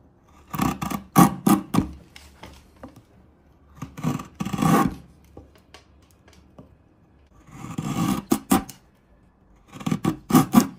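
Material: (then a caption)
Wood. A large steel chisel is pressed down the end of a small, solid, pale wood wedge resting on a wooden table, slicing off curled shavings. Short, crisp cutting and scraping bursts come in several clustered groups with quiet pauses between them, with a woody crackle and bright edges over a low body.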